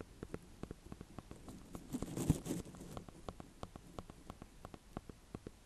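Fingertips and painted nails tap and scratch the hard rind of a small, solid green-and-cream speckled, ribbed ornamental gourd (a sweet dumpling squash) held in one hand above hay. About 22 quick, dull, low taps come in an uneven patter, each dying away almost at once. A louder scratchy rustle swells briefly in the middle.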